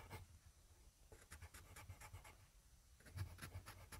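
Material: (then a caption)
Paper. A yellow wooden graphite pencil, held in the fingertips, scribbles and scratches back and forth on a flat sheet of grid paper lying on a desk, with a small microphone beside it left untouched. Quick, dry scratching strokes come in bursts with bright, hissy edges over a steady low rumble, at a quiet level.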